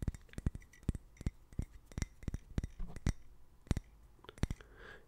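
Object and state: Ceramic mug stirred with a metal spoon.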